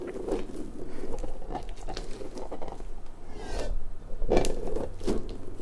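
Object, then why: Soft rubber puffer ball with spiky tendrils. Fingertips and nails scratch and rub the spiky tendrils of a large, hollow, pink soft rubber puffer ball. The result is a steady, low-toned rubbery rustling and scraping, broken by quick squeaky strokes with brief bright edges, and it gets a little louder toward the end.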